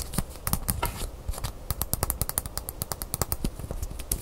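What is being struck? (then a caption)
Braided leather bracelet with metal clasp. Fingernails tap and scratch on a small braided leather cord bracelet with a metal clasp, held in the hands. Quick, dry, close-up clicks and taps sound over soft scratching, with the sharpest clicks coming from the metal clasp. The taps are short with almost no ring.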